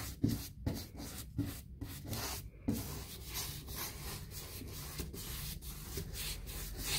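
A hand-held paint brush is stroked across a panel of a large white six-panel painted molded fiberboard interior door with a wood-grain texture, likely hollow-core molded hardboard. Scratchy, bristly brushing rubs sweep back and forth with a soft low body and a brighter hiss on top, with slightly louder strokes near the start.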